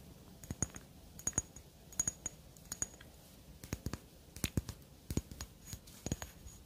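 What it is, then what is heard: Glass perfume bottle tapped with fingernails. Long dark fingernails tap a square black glass perfume bottle with a cylindrical cap, held close. Many short, sharp clicks come in quick clusters, each with a bright glassy ring that dies almost at once, over a quiet low background.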